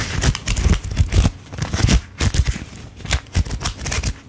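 A thick stack of paper dollar bills is held in both hands while a thumb flips and riffles through the fanned bills. Quick, closely spaced papery flicks and crinkles come in bursts, each with a soft low thump under a bright, crisp rustle that cuts off almost at once.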